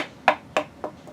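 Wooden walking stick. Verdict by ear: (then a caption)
Solid. A homemade wooden walking stick, carved from a tree limb that fell in a storm and possibly hickory, is tapped three times. Each tap gives a short, dry, mid-pitched knock that fades almost at once, and the stick sounds solid.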